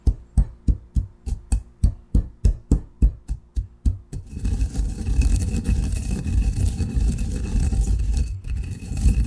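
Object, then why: Coffee being pounded and ground in a granite mortar and pestle. A granite pestle works fine coffee grounds in a granite mortar, first with about fourteen evenly spaced, deep, short thuds. It then shifts into a continuous low, rumbling grind that holds steady to the end.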